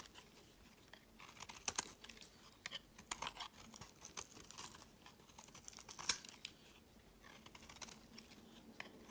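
A utility knife blade scrapes long shavings off a pale yellow solid bar of soap. Soft, dry, crackling scrapes come in quick, irregular strokes, with bright, high crisp peaks and almost no low end. Each stroke stops short, without ringing.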